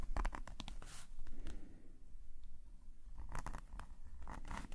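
A metal nib pen held in a gloved hand scratches short hatching strokes across a black paper sketchbook page lying flat. Quick, dry, bright scratches come in bursts over a steady low rumble, easing into a quieter stretch midway before the strokes pick up again.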